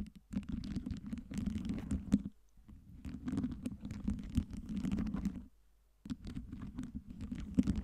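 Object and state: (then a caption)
Stack of acrylic light-up ice cubes. Long nails tap and scratch the faces and top of a tower of clear acrylic light-up LED ice cubes. The result is dense, dry tapping and scratching with a low thud around 250 Hz and short, crisp clicks. It comes in three bursts separated by brief quiet pauses.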